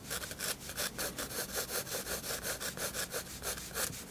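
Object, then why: Graphite pencil on a paper sketchbook page. A 7B graphite pencil draws short strokes across the white paper page of a spiral-bound sketchbook lying flat on a table. The result is a steady, rhythmic scratching with bright, airy hiss on each stroke, repeating at a brisk pace of about three strokes per second.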